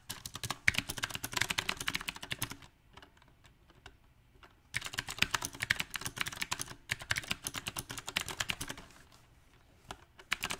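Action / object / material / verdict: tap / mechanical keyboard with round plastic keycaps / plastic / none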